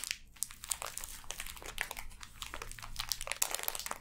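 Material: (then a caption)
Plastic film. Long dark-painted nails and fingertips scratch and crinkle the clear plastic film sealing a hand-sized, solid, full block of pink kinetic sand resting on a table. Dense, bright crinkling and crackling comes in quick overlapping bursts with a steady low hum underneath.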